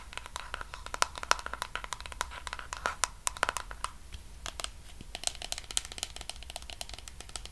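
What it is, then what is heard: Plastic cosmetic jar tapped with nails. A medium pink plastic body cream tub with a white lid is held in the hands while long nails tap rapidly on its sides and lid. The result is a fast, irregular stream of sharp, dry, typing-like clicks with bright, high edges and a hollow plastic tone around 1.4 kHz, over a faint low hum.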